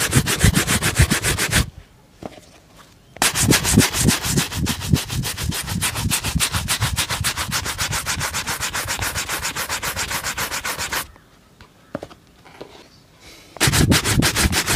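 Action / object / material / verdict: scrape / leather dress shoe brushed with a bristle brush / leather / none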